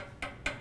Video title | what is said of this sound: Natural Healing with Oriental Medicine: Moxibustion | you can hear it's very hard like a piece of chalk only not as brittle